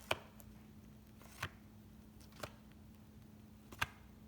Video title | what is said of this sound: Is my Base Set Booster Box Resealed?! | a loose pack going left to right